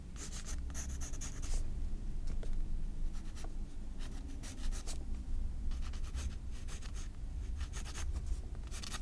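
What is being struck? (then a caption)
Graphite pencil on a paper sketchbook page. A graphite pencil draws and scratches guideline strokes on the white paper page of a spiral sketchbook. Bursts of bright, dry scratching come and go over a steady low rumble, with quieter gaps between strokes.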